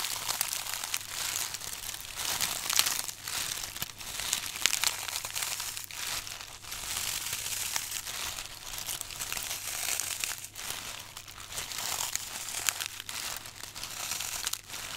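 Two hands hold a solid, brittle, hand-sized block of green floral foam, with a few dried rose heads stuck in its top edge, while the thumbs press into and crush its surface, leaving many dents. The result is a steady stream of dense, bright crunching and crinkling that swells and fades in short bursts, with a faint low hum underneath.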